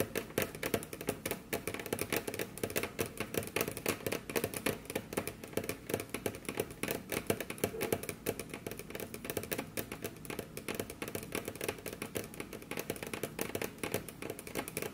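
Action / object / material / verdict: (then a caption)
tap / wooden desk surface tapped with fingernails / wood / none. Both hands tap repeatedly on a large, solid, dark brown polished wooden desk surface with the tips of very long curved nails. The result is a fast, continuous stream of light, crisp clicking taps with very short decay, at a steady, fairly quiet level with a woody midrange body and some bright edge.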